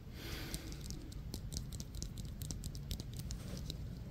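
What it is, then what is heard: Synthetic softball tapped and scratched. A small, solid yellow synthetic Wilson softball with black stitching is held in the hands and tapped and scratched with the fingertips and short nails. Quiet, dry, rapid taps and clicks sound over a soft scratchy hiss, with each tap dying away almost instantly. A low rumble runs underneath throughout.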